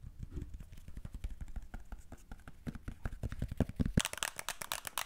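A thin, rigid, flat black and green plastic Wacom drawing tablet is held in both hands and tapped and scratched with long nails. Quick, dry, dull taps with short low thumps come in an uneven patter, and near the end they give way to brighter, crisp scratching. Each sound dies away almost instantly.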